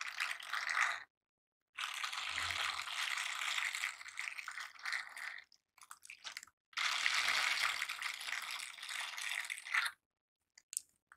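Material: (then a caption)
Silicone. A pair of silicone bristle scrubber gloves worn on both hands rub over each other's backs and palms, making a dense, bright, rattling scratch. It comes in a short burst, then two long sustained rubbing passages with a few choppy strokes between them, separated by brief silences and ending in a couple of faint ticks.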